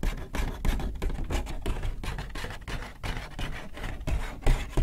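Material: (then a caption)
Paper. Fingers rub and crinkle an empty white Hudson's Bay paper shopping bag up close, making a steady run of dry, papery crackles and rustles. The crinkling comes in quick, uneven bursts with a soft, heavy low end and brief flares of louder crackle, and no sound lingers after each burst.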